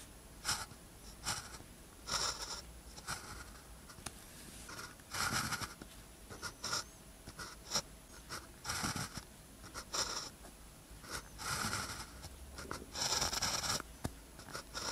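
A blue ballpoint pen tip scratches across a thin paper practice sheet with a red grid, lying flat, while writing characters. Short bursts of bright, high scratching come and go with quiet pauses between strokes over a low background hiss.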